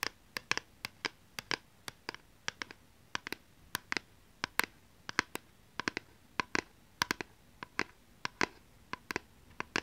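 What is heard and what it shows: Long painted nails scratch and tap the surface of a thin, solid, hand-held plastic PlayStation 2 game DVD disc. About 37 sharp, dry clicks are heard, bright with almost no low end, each dying away instantly against a quiet background.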